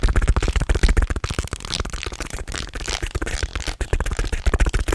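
A long segmented wooden snake toy of light natural wood, made of small solid linked pieces, is held in both hands and bent and flexed so the segments clack against each other. Rapid, irregular, dry wooden clicks and rattles run continuously, each one very short with almost no ring. The sound is dull and weighted toward the low end.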